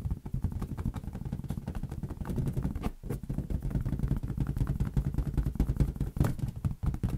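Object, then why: Inflated latex rubber balloon. A large, hollow, air-filled green latex balloon is tapped rapidly with the fingertips of both hands. The result is a dense, continuous patter of soft, low, boomy thumps centred around 137 Hz, with very little high end. Each tap dies away almost at once, with a brief lull near the three-second mark.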